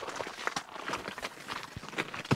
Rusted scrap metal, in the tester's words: ça tient plus et c'est cuit avec le sel vous entendez comment ça croustille